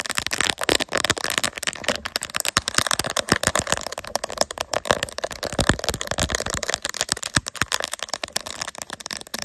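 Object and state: Plastic phone case with resin bears, tapped and scratched.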